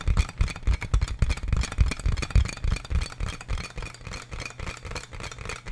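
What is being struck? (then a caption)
Inflatable plastic air column packaging. Fingertips and nails tap and scratch on a large clear plastic inflatable air column packaging bag with hollow air-filled tubes. The result is a rapid, uneven stream of short, dull, low thuds with faint crinkly scratching above. The taps grow softer toward the end.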